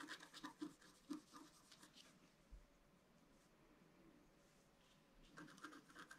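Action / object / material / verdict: scrape / scratch-art paper card scratched with a wooden stylus / coated paper / none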